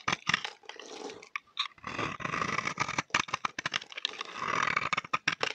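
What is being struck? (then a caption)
Bar of soap shaved with a knife blade. A dry, palm-sized cream-colored bar of soap is held in the hand and shaved with a utility knife blade, cutting off curls. Quick, bright scraping strokes and crisp crackling cuts come in rapid bursts with short gaps, alongside a few longer sustained scrapes.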